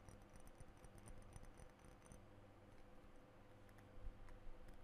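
Fingernails tap on the body and metal spray cap of a blue glass perfume bottle held in both hands. The result is a rapid run of light, dry clicks with very little ring, over a steady low hum, with slightly sharper taps near the end.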